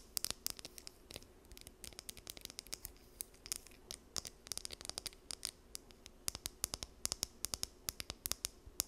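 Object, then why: Plastic comb. Long nails run along and flick the teeth of a small, solid blue plastic comb held close to the mic. Quick, bright, dry clicks and scratchy ticks come in uneven bursts, each dying away almost instantly, over a faint steady low hum.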